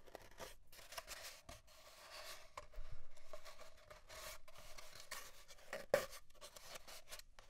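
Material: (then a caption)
Cardboard. Fingernails scratch and pick at leftover paper towel bits stuck to an empty, hollow brown cardboard paper towel tube lying on a wooden desk, with a torn pile of paper towel beside it. The result is quiet, dry, papery scratching and rubbing in short bursts over a faint steady midrange tone, with one sharper click near the end.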